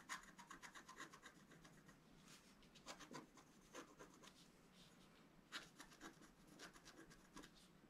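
A wooden stylus scratches fine strokes into a flat sheet of scratch-art paper, cutting through its black coating to the colored foil layer beneath while the sheet lies flat on a table. A quiet, dry, raspy scratching comes in a rapid series of short, bright strokes with brief pauses between bursts.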